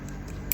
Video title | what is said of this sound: HOW TO MAKE ACRYLIC NAILS {easy/fast} *2020 | When you hear that clicky sound, it means that it's hard.